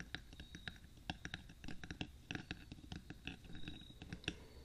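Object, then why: Metal binaural microphone case. Fingertips and short nails of both hands tap and scratch along the top of the hollow black rectangular metal body of a 3Dio binaural microphone, set between its two white silicone ears on a stand. Quick, dry clicks and scratches patter irregularly with almost no ring, over a low hollow body and bright tick edges. Faint whispering or breathing may be present underneath.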